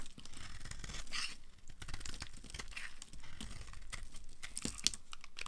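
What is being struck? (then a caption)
Bar of soap. A hand-sized solid bar of dry yellow soap, held in the hand, is scraped with a utility cutter blade, shaving off crumbly pieces. A continuous run of scratchy, crunchy scrapes and crumbling is heard, with bright, crisp edges and a low rumble underneath.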